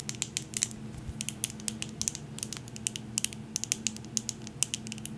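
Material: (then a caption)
Glass. A medium glass jar candle filled with wax, with a glass lid, is tapped and scratched with long nails on both the jar and the lid. The result is a rapid, irregular series of sharp, bright clicks and ticks with almost no ring, over a faint, steady low hum.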